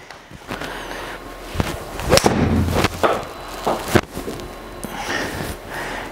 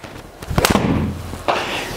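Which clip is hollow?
The first.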